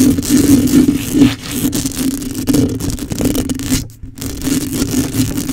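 A black microphone with a hollow metal mesh grille is scratched and raked by long acrylic nails. Dense, rustly scratching sweeps across a steady low hum around 250 Hz, with bright noisy streaks and a brief near-silent gap just before the 4-second mark.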